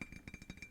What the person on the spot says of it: Anything with a ring to it, like glass.